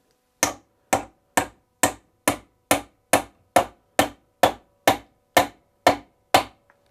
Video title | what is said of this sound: Broken Chair Back Repair with a Lathe, Shave Horse & Furniture Restoration Skills - Fixing Furniture | listen to the sound as i tap this in you hear it getting more solid